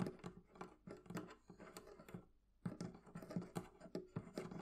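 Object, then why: Small metal latch on a wooden barrel chest. Long nails tap and flick a small metal hasp latch on a hollow wooden barrel chest with one hand. The result is a quick, uneven run of short, dry clicks and taps with a low, hollow body around 180 Hz. The taps pause briefly in the middle, then resume.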